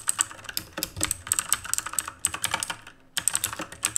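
Rapid fingertip typing on the plastic keycaps of a black RGB plastic-and-metal mechanical keyboard produces a fast stream of sharp, bright clicks. The keystrokes cluster in quick bursts, with a brief pause near the three-second mark before the typing resumes.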